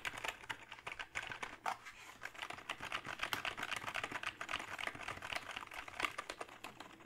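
Fingertips of both hands type on the keys of a hollow, full-size plastic backlit membrane gaming keyboard. The result is a steady, irregular patter of quick, dry clacks at about four per second, bright and papery with almost no low end. Each keystroke dies away almost instantly.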